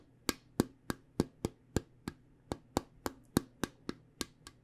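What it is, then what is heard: Small round metal card-game tin. Long painted nails tap on the side of a small round metal tin from the Spot It card game, which has a purple lid and is held in both hands. Fifteen quick, sharp clicks sound at a fairly steady pace, each with a bright attack and a very short, dry decay.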